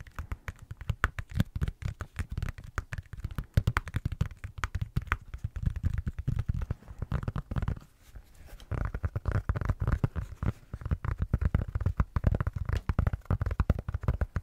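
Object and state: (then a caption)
Silicone tablet case. Fingertips and short nails tap and scratch rapidly on the back of an iPad in a thin blue silicone/rubber case, held in the hand close to the mic. The result is a dense run of soft, dull, low thuds with very short decay and faint scratching, with a brief pause around the eight-second mark.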